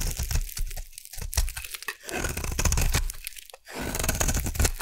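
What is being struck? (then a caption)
Bar of soap cut with a metal blade. A metal blade carves a solid purple bar of soap, held in one hand, into curled shavings, while the other hand has long dark-painted nails. Continuous crisp, crunchy scraping and tearing strokes with a bright edge fill the clip over a steady low rumble, briefly dropping away near the first and fourth seconds before resuming.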